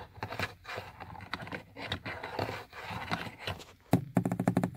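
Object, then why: Plastic car door window switch panel. Fingertips and short painted nails tap and click the switch buttons of a hard, hollow black plastic power-window switch panel on a car door armrest. Soft, uneven scratchy rubbing and light tapping fill most of the clip, then a burst of sharper, rapid hollow clicks closes it.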